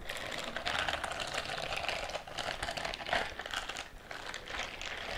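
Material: Silicone.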